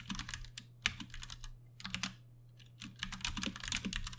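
Fingertips of both hands type on a Ducky One 2 Mini, a compact 60% RGB-backlit mechanical keyboard with plastic keycaps and Cherry MX Brown switches, resting on a desk. Quick, bright clacks come in bursts, peaking around 3 kHz, with a short pause midway. A steady low hum runs underneath.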